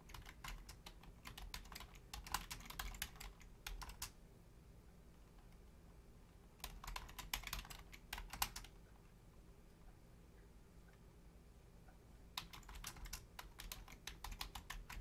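Both hands with long painted nails and fingertips rapidly tap the membrane keys of a black plastic Logitech full-size keyboard with a hollow shell. The clicks come in three bursts of quick, bright, short ticks separated by quiet pauses. A steady low hum runs underneath throughout.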